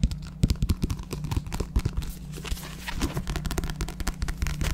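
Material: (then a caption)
Paper. A paperback book with a paper cover and pages is held in the hands while its pages are flipped and riffled and its cover is handled and tapped with the fingers. Quick, dry taps and crisp papery rustles come in irregular bursts over a steady low hum. Each tap dies away almost instantly.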